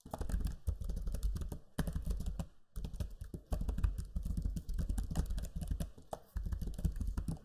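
Fingertips type quickly on the low-profile plastic keys of a backlit black Lenovo Legion 5 laptop keyboard. The result is a steady stream of soft, dull clicks and taps with a deep, thumpy body, broken by a few brief pauses.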